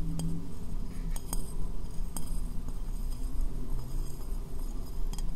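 Fingernails tap on the base and sides of a medium, hollow, empty white ceramic bowl turned upside down over the microphone. Short, bright clicks with quick, clinking decay sit above a steady, boomy low-end rumble that dominates the sound.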